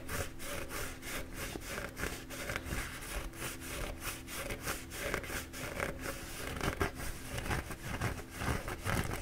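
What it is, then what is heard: Paper towel roll being scratched. A bee-printed paper towel roll is held in both hands while fingertips rub and scratch its soft paper back and forth. The result is a steady run of soft, rhythmic, papery scratching strokes with a brushy, saw-like texture over a low, constant hum.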